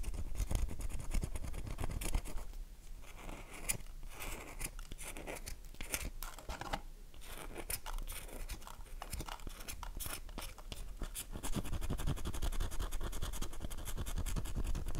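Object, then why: Bar of soap. A long fingernail scratches and carves the surface of an oval, solid, mint-green dry cream soap bar held unwrapped in the palm, leaving flakes. It makes a dense run of dry, crisp scratching and crackling with short bright clicks. The scraping is louder at the start, softer from about 2.5 to 11.5 seconds, then grows louder again toward the end.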